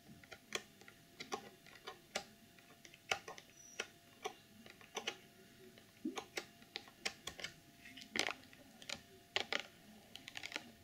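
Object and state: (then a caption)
Clear plastic box tapped with nails. Fingernails tap the sides and top of a hollow, clear plastic packaging box holding a sequin pouch and a pom-pom. Around thirty short, sharp, bright clicks come in an uneven rhythm, each dying away almost at once over a quiet background.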